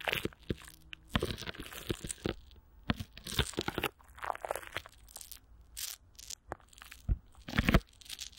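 Clear plastic wrap with Vaseline is stretched over a hollow microphone grille while one hand wraps around it and the fingers rub and squeeze the film. This produces close, uneven bursts of crinkling and crunching, with bright, hissy rustle over soft low thumps. Short pauses fall between the sharper squeezes.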